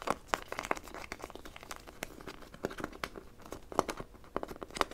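A small blue plastic toy figure is tapped and scratched quickly with long nails and fingertips. The result is a rapid, uneven run of sharp, dry plastic clicks and scratchy crinkling, bright and clicky with no ring after each hit.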